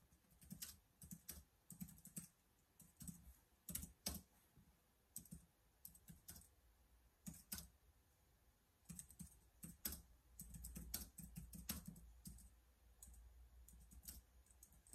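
Fingertips type continuously on the keys of a black plastic laptop keyboard, producing quiet bursts of soft, short clicks with low, dull thuds beneath bright tapping tops. The keystrokes come in uneven clusters separated by brief pauses, each tap dying away almost instantly.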